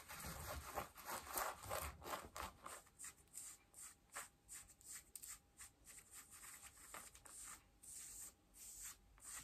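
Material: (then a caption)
Denim. Long nails scratch and rub worn blue denim jeans at the waistband and front pockets. A dense, bright scratching rustle in the first few seconds gives way to quicker, separate scraping strokes at a fairly steady pace. A faint steady tone sits under the later strokes.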